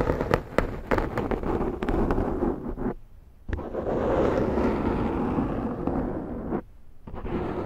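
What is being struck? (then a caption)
Foam microphone windscreen. Long nails scratch the side of a large round black foam windscreen on a Zoom microphone, making a dense, crackling, rustling scratch with sharp pops in the first few seconds. The scratching stops briefly around three seconds and again near six and a half seconds, then resumes as a steady, muffled rasp.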